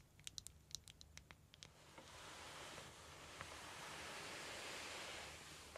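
Long red-painted nails tap on a small, clear, flexible PVC/vinyl makeup pouch with gold dot studs, hollow and apparently empty, held in both hands. About ten quick, bright plastic clicks come in the first second and a half, then the sound gives way to a steady, soft rustling hiss with a few faint ticks.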